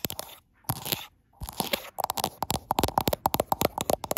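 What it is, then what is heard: Glass smartphone back. Long acrylic nails tap and scrape the frosted glass back of a gold iPhone Pro and the area around its camera bump. Brief scratchy bursts with pauses between them give way to a quick run of crisp, bright clicks. Each tap has a faint mid-pitched ping near 800 Hz and dies away almost instantly.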